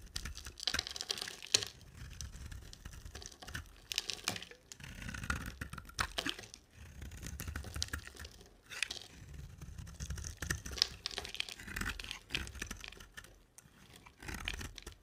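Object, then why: Bar of soap. A utility knife blade shaves a rectangular solid cream bar of dry soap with a black glitter coating. Quiet, crisp scraping and crackling come in repeated bursts, bright and papery with a soft low rumble underneath.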